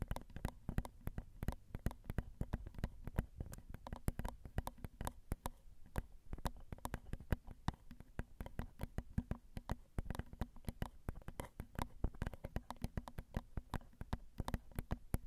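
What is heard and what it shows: Long rhinestone acrylic nails tap rapidly and steadily on the small, hollow metal mesh grilles of a Zoom recorder's XY microphone capsules. Each dry, clicky tap lands as a deep, boomy thump close to the mic, with very short decay, and the taps run on continuously throughout.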